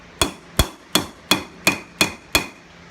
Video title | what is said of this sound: Minimal Hand tools Hammer key ring Thor Style (Rounding Hammer) | hear a solid sound like that